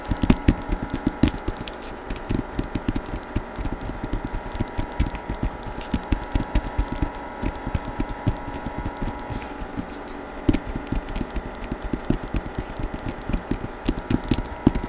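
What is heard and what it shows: Fingertips tap quickly and continuously on the front and back covers of a hardcover novel with a paper dust jacket and portrait cover, held in one hand close to the microphone. The taps are short, dry and muffled with a low, dull body and almost no ring, over a faint steady hum.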